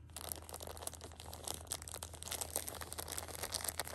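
Long nails and fingertips scratch and rub the plastic film wrap of a pocket tissue six-pack that has been flipped to its other side. The result is a dense run of quick, bright crinkles and scratchy rustles, with sharper ticks rising above a steady low hum.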